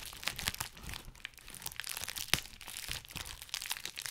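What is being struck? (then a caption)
Plastic bubble wrap sheet. A clear plastic bubble wrap sheet is held close to the microphone while fingers pinch, pop and crinkle its bubbles. Bright, crackly crinkling runs throughout, broken by short, sharp pops, with the loudest snap about two-thirds of the way through. Each pop dies away almost instantly.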